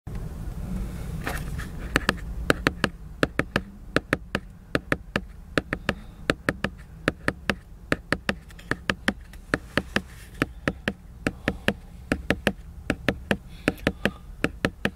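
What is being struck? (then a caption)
Glossy laminated paper book cover. Fingertips and nails tap the glossy laminated paper cover of a large, solid picture book lying flat in a car. A long series of short, sharp, dry clicks sounds over a steady low rumble, with a brief soft scratchy rustle early on.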